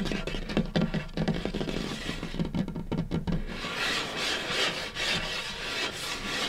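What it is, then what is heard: Wooden tabletop. Fingertips and short nails scurry, rub and tap across a large, solid, light-colored butcher-block style wooden tabletop. For the first few seconds, quick irregular taps land with short, dull knocks that have a low woody body. Then the sound shifts to continuous scratchy rubbing that swells and fades with a bright, hissy edge.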